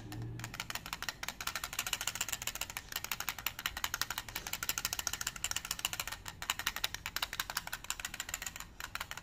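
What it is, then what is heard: Clear plastic dice case. A small transparent plastic tube holding red dice is held in one hand, tapped by long nails and shaken. A steady, rapid stream of dozens of sharp, bright plastic clicks and rattles runs throughout, with very little low end and no ring after each tick.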